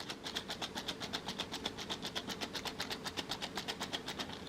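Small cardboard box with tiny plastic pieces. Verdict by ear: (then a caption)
Loose. A sealed cardboard Miniverse mini blind box, its code printed on the inside, is shaken steadily to check whether it holds the rare Valentines fondue set. It gives a quick, even, maracas-like rattle, about four shakes a second, with bright, dry clicks as the set's tiny plastic fruit slices move around inside. This rattle is the hint that the box contains the rare set.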